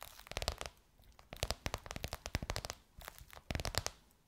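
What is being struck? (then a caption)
Faux leather pillowcase over a soft pillow. Long white nails tap and scratch on a gold crocodile-embossed faux leather pillowcase stretched over a soft pillow. The result is bursts of quick, dry taps with a soft low thud and a bright, crinkly scratch. Short quiet pauses separate the bursts, and each tap dies away almost instantly.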